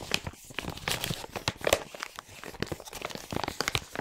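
A large printed plastic LEGO Hero Factory 44022 packaging bag, full of parts, is turned over in both hands while fingers crinkle and rub it. The result is a continuous stream of quiet, sharp crackles and crinkles with bright, papery highs and short rustling bursts that die away almost instantly.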